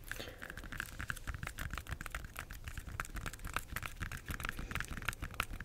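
Long nails tap and scratch the peel of an unpeeled bunch of ripe yellow bananas with brown streaks. The result is a quick, steady run of crisp, dry clicks and papery scratching with no ring, over a soft low rumble.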